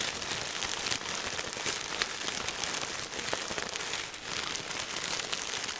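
A large Ziploc plastic bag full of red and green crinkle-cut paper shreds is squeezed and scrunched with both hands. The result is a steady, dense, bright crinkling and crackling that runs throughout, with almost no low end.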